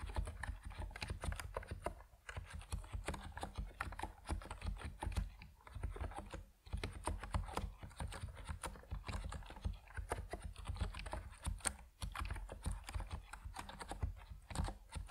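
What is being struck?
Compact mechanical keyboard with PBT plastic keycaps.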